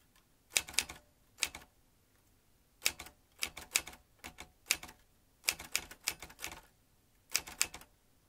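A vintage metal manual typewriter with round metal-rimmed keys and metal typebars is typed with the fingertips of both hands. Sharp, bright clacks come in short irregular bursts separated by quiet pauses, each strike dying away almost instantly with very little low end.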